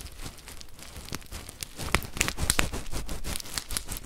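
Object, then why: Plastic bag filled with rice. A full, clear plastic bag of rice is squeezed from above and shaken by hand. It makes irregular crinkling and grainy rustling, with sharp bright crackles over a low rumble of shifting grains. The sound grows busier and louder partway through.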